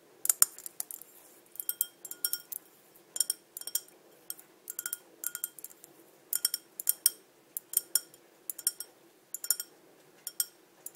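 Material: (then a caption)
Glass. A small, clear, hollow and empty glass cup with ribbed sides and a green-tinted base is held in one hand and tapped with long, dark-painted nails. Quick, quiet bursts of sharp, bright clicks come in uneven clusters, each carrying a brief, high glassy ping that dies away almost at once.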